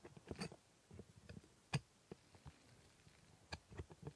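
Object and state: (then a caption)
Plastic dental model teeth scraped with steel scaler. The tip of a steel scaler scrapes and ticks against the hard plastic teeth of a dental model. The result is a quiet, irregular series of short, dry clicks and faint scratches, mostly low in tone, with a few sharper, brighter ticks standing out and no ringing afterward.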